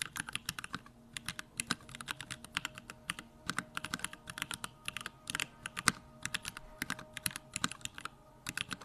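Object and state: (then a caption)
Mechanical keyboard with plastic keycaps. Continuous fingertip typing on a compact Bakeneko65 mechanical keyboard with a pink case, plastic keycaps and Durock lavender switches. Rapid, crisp keystrokes click and clack in quick bursts, each bright and short with almost no ring, over a faint steady background tone.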